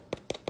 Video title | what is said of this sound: April 24, 2026 | super super crackery and crispy on the bottom